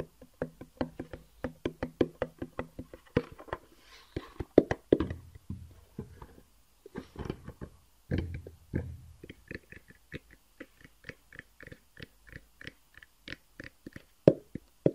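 A long, hollow black cardboard gift box with white edges is held in the hands and tapped and knocked with the fingertips. Many quick, short, dry knocks come in irregular bursts, with a low hollow body tone and brief brushing rustles in between.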